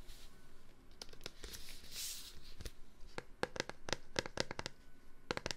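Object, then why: Plastic wipes container. A plastic Clorox disinfectant-wipes container is tapped. Soft rustling and brushing come first, then a run of quick, dry, clicky taps with a bright edge and a hollow plastic tone around 500 Hz. Each tap dies away almost instantly.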